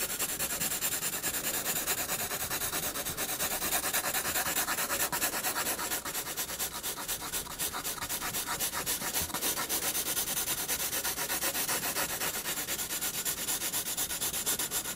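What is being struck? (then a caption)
Graphite pencil on paper sketchbook sheet. A graphite pencil makes continuous shading strokes near the bottom of a paper sketchbook page. It produces a steady, bright, scratchy rubbing hiss made of rapid back-and-forth strokes, with almost no low end, lasting the whole clip.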